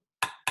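Two dry, metallic taps from the handle of a dental mirror striking a metal dental implant, with bright clicks that die away quickly. The solid sound marks the implant as good and stable, because the tap is transmitted to the bone.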